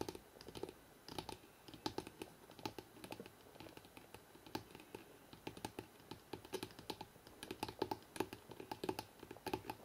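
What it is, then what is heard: Hardcover book spine. Both hands fast-tap the spine of a thick hardcover book held in the hands, drumming with the fingertips. Quiet, dry, short taps with a hollow low-mid thud and almost no ring come in quick, uneven flurries, sounding much like rapid typing on a keyboard.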